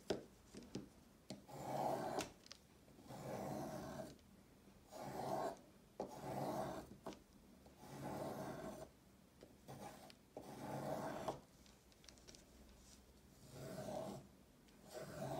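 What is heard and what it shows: A solid bright yellow chalk stick is scraped repeatedly with a peeler blade, piling up thick curled shavings. Each stroke makes a dry, rasping scrape centered in the low-mid range, coming in uneven bursts separated by short quiet pauses.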